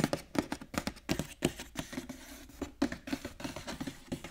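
Fingertips and short nails tap and scratch across the printed cardboard front and clear plastic window of a large, flat, hollow cardboard Pokémon premium collection box with card packs inside, lying on a table. A quick, uneven run of short, dry taps, each with a hollow, boxy low-mid body and a little bright click, with a softer stretch of scratching in the middle.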